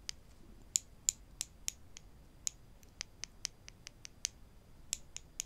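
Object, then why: Wooden spring clothespins. Two small, solid wooden spring clothespins are held in both hands and tapped or clicked against each other with the fingertips. Seventeen short, dry, bright clicks come at an uneven pace, with no ringing after each one. A faint steady hiss sits underneath.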